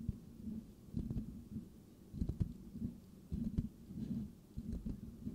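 Fingertips of both hands scratch the rounded, hollow metal mesh grille of a white microphone. The result is a muffled, low rumbling scratch that comes in uneven bursts with soft thumps, and almost nothing is heard in the high range.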